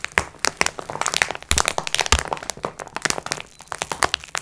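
Long red nails tap and scratch the plastic wrap of a multipack of sponge cloths lying flat on a table, using both hands. A dense run of sharp, bright crinkling clicks and scratches follows, with a few louder taps standing out.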